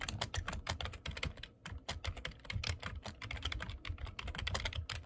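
Fingertips type quickly on a black plastic computer keyboard, producing a steady stream of crisp, bright key clicks over soft, low thumps as the keys bottom out. The clatter runs continuously for about five seconds with small pauses between bursts of keystrokes.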